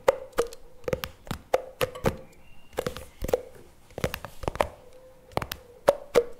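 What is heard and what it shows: Fingers tap and scratch the lid and rim of a CremaNovi plastic spread tub lying on its side. A quick, uneven run of dry, hollow taps, each with a short plasticky tone around 530 Hz, is broken by brief scratchy rustles. Every tap dies away almost at once.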